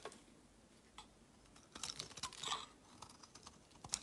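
A metal utility knife shaves curls from the edge of a palm-sized, solid round white bar of soap with a ribbed pattern. The scraping makes soft, bright, crisp clicks and rasps, densest in the middle, with no low-end body.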